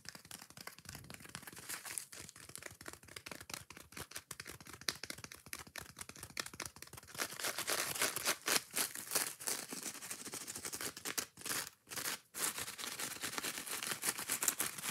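Long nails scratch quickly across the green abrasive scouring side of a foam kitchen sponge held up close. The sound is a dense, bright, raspy scratching that grows louder and fuller after about 7 seconds, with two brief pauses near 11 and 12 seconds.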